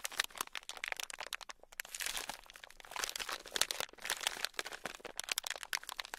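A palm-sized, solid, soft red block of foam bead clay (floam), modeling clay packed with tiny polystyrene foam beads, is held in both hands while fingertips squeeze, press and knead it. This produces dense, bright, crunchy crackling in rapid bursts that swell and fade, with almost no low end.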